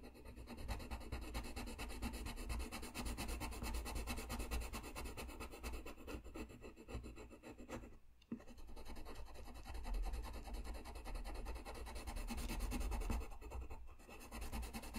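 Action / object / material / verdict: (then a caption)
scrape / paper sheet rubbed with a coloured pencil / paper / none. A blue colored pencil rubs across a flat white paper sheet in continuous coloring strokes, making a steady, soft scratchy rasp. The sound has a low hum-like body, with a brief pause near the middle before the strokes resume.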